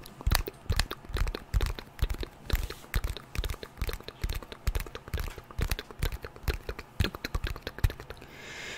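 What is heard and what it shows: A white glass and aluminium smartphone with a glass screen and thin metal frame is held in both hands in front of the mic while long painted nails tap and scratch its screen and edges. Quick, uneven clicky taps come in dense bursts, each short and dry with a dull low thump under a bright tick. Near the end the tapping gives way to a soft, rising scratchy hiss.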